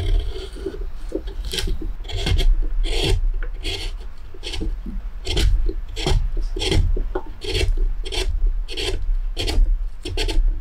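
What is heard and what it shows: A hand-held metal spoon gouge carves and scrapes inside the shallow bowl of a pale, solid wooden plate as wood shavings collect. Steady, repeated rasping strokes each give a short, bright scraping burst over a low, continuous rumble.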